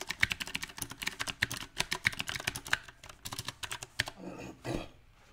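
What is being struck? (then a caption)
Mechanical keyboard with round plastic keycaps. Fingertips of both hands type unevenly on a small 68-key backlit mechanical keyboard with round typewriter-style plastic keycaps set on a silver metal plate. Sharp, bright clacks come in irregular bursts with brief pauses, each cutting off almost instantly. Near the end the keys give way to a soft rustling swell before the clip falls quiet.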